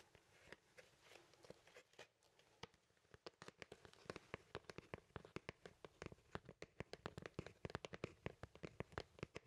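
A large, thin, flat cardboard vinyl LP record sleeve is held in both hands while fingers and nails scratch and tap its printed surface. The result is a quiet, dry run of sharp clicks and brief scratchy rasps with no ring, starting sparse and growing into a dense, busy patter.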